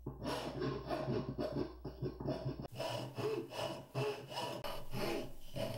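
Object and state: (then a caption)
Walnut wood being rasped. A metal hand file or rasp, held in both hands, is rubbed and scratched back and forth across the carved ridges of a solid carved walnut workpiece with a scalloped profile, about hand length, clamped on a wooden workbench. The result is a dry, gritty, rasping scrape in repeated strokes, mostly low and mid in tone with little brightness.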